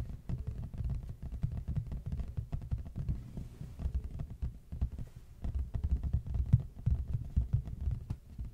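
Fast fingertip tapping and scratching with both hands on the front face of a large, flat, hollow red printed cardboard box held upright facing the mic. The result is a dense, continuous patter of soft, dull, low thuds with almost no ring, mixed with faint scratchy brushing.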